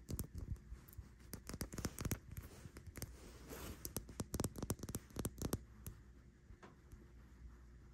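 Long nails tap and scratch the body and pink cap of a small white and pink plastic cosmetic bottle resting on a bedsheet. About two dozen short, dry clicks land at an uneven pace, mixed with soft scratching, over a faint low hum. Each tap dies away almost instantly.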